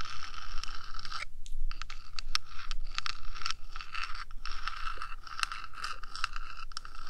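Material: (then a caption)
Metal. Long nails, first of one hand and then both, tap and scratch the top of a 3Dio microphone's small metal housing. The result is dense, rapid, bright scratching and clicking with sharp ticks over a steady low rumble.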